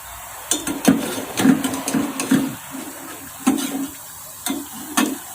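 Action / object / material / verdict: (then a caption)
shake / fried potato fries in a metal strainer / potato / crisp. Freshly fried french fries are tossed in a colander after the oil has drained off, making a series of dry, crisp rattling shakes with a brittle, bright crunch on each toss. Quiet pauses separate the bursts, showing that the fries are crispy.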